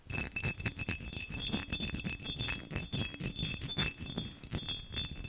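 A textured glass vase is tapped fast and aggressively in a rapid, continuous series of bright, high-pitched glassy clinks and taps. Short ringing tones sound, and each tap decays quickly over a light, rattling texture.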